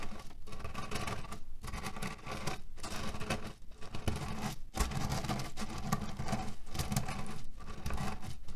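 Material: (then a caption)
Cherry pits. Fingertips and short nails scratch and knead the surface of a small, soft, square cotton-canvas heat pillow printed with red cherries and filled with loose cherry stones, then flat palms rub it. The result is a steady, dense, crunchy pattering and rustling of shifting pits, weighted toward low tones, with brief dips in between strokes.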